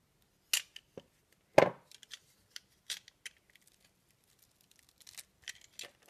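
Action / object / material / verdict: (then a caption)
scrape / bar of soap cut with a metal blade / soap / none. A metal box-cutter blade cuts and shaves curls from the soft pink top of a hand-sized, round solid bar of lime-green soap with a pink rose-shaped soap centre, held in the hand. About fourteen short, crisp scraping and cutting strokes sound in quiet, with the loudest one early in the clip and the rest soft and bright.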